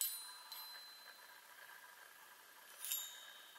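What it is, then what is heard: Metal tube chime. Long fingernails tap the hollow metal tubes of a small handheld chime mounted on a wooden frame. Two bright, high metallic taps, one at the start and one near the end, ring briefly over a soft, sustained shimmer of overlapping tones. The sound is quiet and delicate, with almost no low end.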